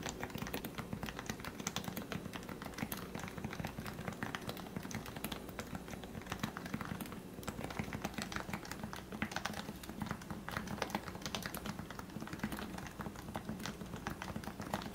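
Fingertips of both hands type rapidly on a compact white-and-grey Leopold FC660C with a plastic case, plastic keycaps and lubricated 45g electro-capacitive Topre switches in a hollow body. The result is a steady, dense stream of soft, muffled key taps with a warm low-mid body, little brightness and very short decay.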